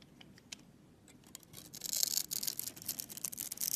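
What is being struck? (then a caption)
Bar of soap cut with a knife blade. A utility knife blade carves and scrapes a solid orange Camay soap bar held in the palm, shaving it into small curls and chips. A few faint, sparse scratches give way after about a second and a half to louder, dense, bright scraping and crackling that continues to the end.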